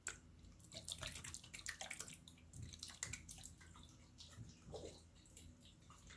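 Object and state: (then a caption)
Glass jar partly filled with water. A small clear glass jar with a green lid, partly filled with water, is held by the fingertips and shaken close to the microphone. Water sloshes and splashes inside in quick, bright bursts over a steady low hum, with the busiest sloshing near the start.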